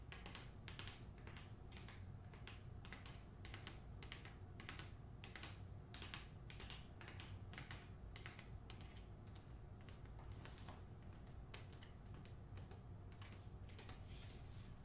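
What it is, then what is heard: Paper-covered hardcover book. Long nails tap quickly along the spine of the closed hardcover novel "The Hacienda" in its paper dust jacket, then tap on the cover once the book is laid flat. The result is a steady stream of dry, bright clicks over a constant low hum.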